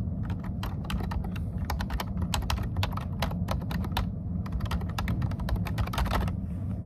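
Fingertips of both hands type steadily on a plastic computer keyboard, producing a rapid, uneven stream of sharp, bright key taps with short pauses between bursts. A steady low rumble sits beneath the clicks throughout.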